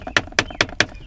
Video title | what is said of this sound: 2015 Subaru WRX Ep. 731: Dominating a B Pillar Rattle | This isn't actually the hitting point, these two pieces. It's this piece to the metal.